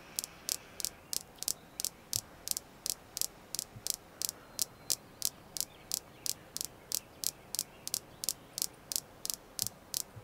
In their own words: Red Jasper ASMR tapping